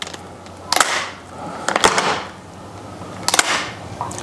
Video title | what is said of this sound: Second Hand Shotgun? Hot Tips | it just doesn't seem right it sounds a bit dull